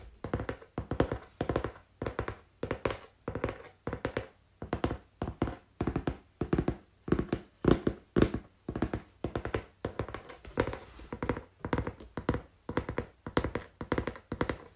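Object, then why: Cardboard box tapped with fingers. Fingers tap on cardboard, making dull, short thunking taps that die away almost at once. The taps come in quick, irregular clusters for about 15 seconds, with a low, muffled tone and little high-frequency content.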